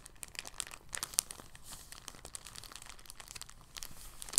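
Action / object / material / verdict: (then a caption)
scrape / thin polyethylene bag / plastic film / none. An empty, thin, clear polyethylene bag is held up and crinkled with fingertips. The result is a soft, steady stream of bright, dry crinkles and crackles with almost no low end. A few sharper snaps stand out around 1.2 seconds and near the end.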